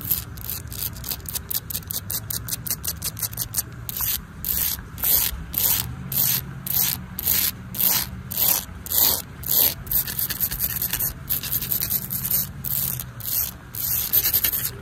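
Long nails and fingertips scratch and rub a large, flat, solid exposed aggregate concrete pavement with embedded colored pebbles, partly wet, outdoors in the rain. Quick, dry, bright scraping strokes come in a steady rhythm at first, then turn into broader, louder rubbing sweeps. A low, steady rumble runs underneath throughout.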